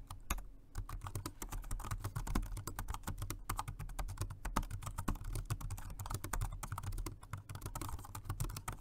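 Both hands type with their fingertips on a dark grey plastic, low-profile Jelly Comb dual-mode rechargeable 2.4G wireless and Bluetooth multi-device keyboard. The result is a fast, steady run of soft, short key taps over a low, steady hum.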